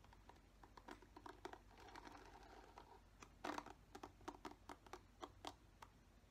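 Fingernails scratch across the green-tipped plastic bristles of a black plastic paddle hairbrush. Quick, dry, crisp scratches and ticks come in an irregular run over a soft rustling bed, with a louder rasping burst midway. The sound stays quiet and close.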